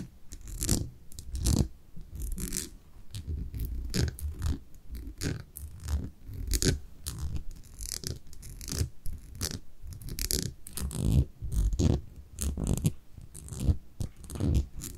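Long manicured nails scratch and tap the white paper label and glass sides of a small brown amber glass cosmetic jar held in both hands. Dense, irregular bursts of scratching and tapping come at an uneven pace, each short and dry with a bright crackle over a heavy low rumble.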